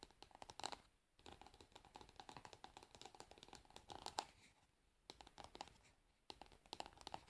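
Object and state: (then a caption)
Plastic cosmetic jar. Long nails tap and scratch the frosted hard plastic bottom of a cosmetic pad jar. Dense bursts of dry, bright scratching and sharp clicks carry a faint ringing tone around 830 Hz. The bursts are broken by brief quiet pauses near 1, 5 and 6 seconds.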